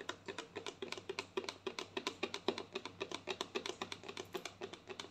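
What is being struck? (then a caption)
Plastic lotion bottle. Long nails tap quickly on a white plastic lotion bottle with a green cap, held diagonally. About three dozen short, dry clicks come in a rapid, uneven run, with a hollow midrange knock near 390 Hz, bright tops and almost no ring.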